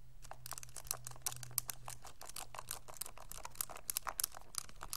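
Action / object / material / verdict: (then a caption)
tap / plastic graphing calculator keys / plastic / none. A pink graphing calculator with a hollow hard plastic case and plastic keys is held in both hands while fingertips and thumbs tap and press the keys. The result is a quiet, rapid run of short, bright plastic clicks over a steady low hum.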